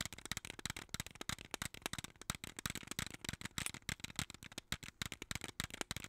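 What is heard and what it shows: A small clear plastic jar full of colorful beads is shaken and tapped with long nails. The result is a rapid, steady run of sharp, bright clicks and rattling beads that stop almost instantly after each tap.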